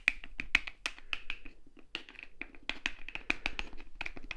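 Fingernails tap on a small translucent blue plastic Sally Hansen cuticle remover bottle with a white cap, partly filled with liquid and held in the fingers. A quick, irregular run of crisp, dry clicks follows, each with a bright plasticky ring near 2.5 kHz that dies away almost at once.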